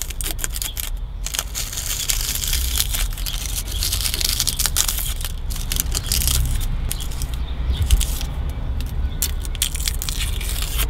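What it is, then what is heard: Aluminium car AC condenser. Fingertips and long nails scratch and tap along the crusty top edge of a removed, dirty aluminium car AC condenser with a metal frame and a thin, hollow finned core. A steady stream of dry, crackly scraping rises into bright, hissy bursts, with quick rattling taps over a constant low rumble.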